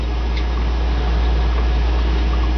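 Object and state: Nothing is struck.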